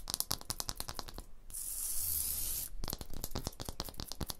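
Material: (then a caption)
Stone. Long blue-painted nails tap quickly on a large, solid wall of rough, pitted, tool-striated stone or concrete blocks, making crisp, dry clicks. Midway, the taps give way to a steady, hissy scratch with bright, high grit across the surface. Then the rapid tapping resumes to the end.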